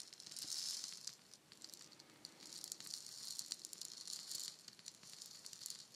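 A palm-sized hollow painted wooden shaker egg is tapped and scratched with long nails and shaken so its fill rattles. The result is a dense, bright, hissy rattle of many quick clicks and scrapes, swelling and easing in waves with almost no low end.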